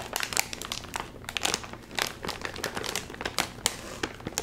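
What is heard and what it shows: A hand-sized, red and white sealed metallized plastic chip bag full of chips is held in both hands, crinkled, and pulled at the top seal with fingertips. The sound is a steady stream of bright, sharp crinkling crackles with brief louder bursts and almost no low end. Each crackle stops instantly with no ring.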